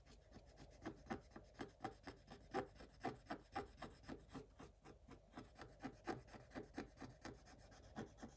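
A thin wooden stylus rubs and scratches the coating off a black scratch-art paper page in quiet, raspy strokes, roughly two per second at an uneven rhythm. Each short, dry scrape centres in the low-mid range around 400 Hz and dies away almost at once.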